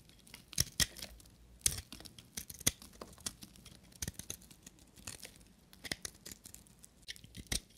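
A small solid piece of dry white soap with a copper rim is held in the hand and shaved into flakes with a knife blade. The result is a series of dry, crisp scraping and crackling snaps, bright and high, with short sharp bursts over a quiet background.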